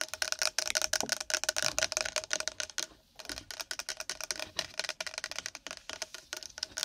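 A pack of nori seaweed in its packaging is tapped and scratched rapidly with long nails, making a dense stream of sharp, dry, crinkly clicks and scrapes with a brief pause around the midpoint. The sound is bright and crisp, with almost no low end.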